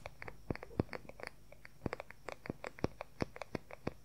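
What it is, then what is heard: Wooden paddle hair brush. Fingernails rapidly tap and scratch the wooden back of a paddle hair brush, its pins visible at the edge. About two dozen quick, irregular taps each land as a short, dry knock with a low thump and a bright click, with no ring between them. A faint scratchy hiss runs underneath at a quiet level.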